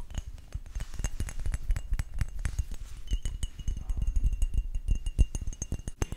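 Rapid tapping on a collection of glass perfume bottles produces a dense stream of short, glassy clinks and chinks with quick decay over a low, soft thudding body. The taps come in an irregular, steady patter throughout, with faint high ringing tones lingering between some of them.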